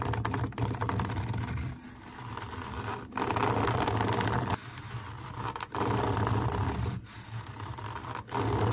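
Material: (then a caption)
Fabric mesh. Long nails scratch and tap across a camouflage fabric mesh cover, making a dense, rapid, slightly uneven rasping texture with a dull low body and little brightness. The scratching comes in sustained bursts broken by brief drops in level.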